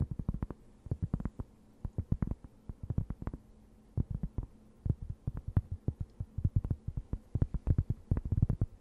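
A thin, round, plate-sized cork board, solid and flat, is held close and scratched with long nails. It makes rapid bursts of short, dull, low scratching strokes with almost no ring, over a faint steady hum.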